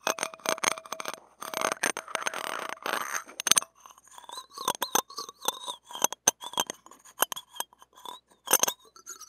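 A stainless steel spatula blade scrapes and clinks against a small, hollow steel wire-mesh mini microphone grille held in the fingers. The first few seconds are dense, bright, raspy scraping, followed by sharp separate clinks and thin, squeaky chirps that stop almost instantly with no ring.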